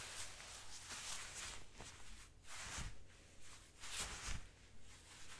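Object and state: Nothing is struck.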